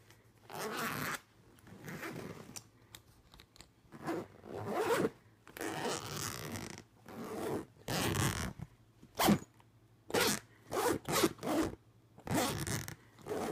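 Fingertips pull the metal zipper pull back and forth along the front pocket of a closed, purple-patterned fabric suitcase with black trim. Quick, rasping zip strokes come in bursts of varying length, from long drawn runs to short sharp zips. Each stroke has a gritty, broadband texture, and brief pauses fall between them.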